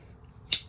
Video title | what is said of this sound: Colorado Surprise: Unboxing and Repairing Two Awesome Knives! | Hear that snap? I mean, you remember how loose it was? It ain't loose no more at all.